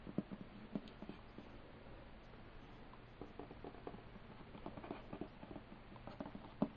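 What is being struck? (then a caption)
Hollow wooden box. Fingertips and short nails tap and lightly scratch the printed pirate-themed lid of a closed, hollow, medium-sized hinged wooden board game box lying flat. The result is a series of quiet, dull, hollow taps that die away almost instantly, with faint scratching and patter between them and few high frequencies.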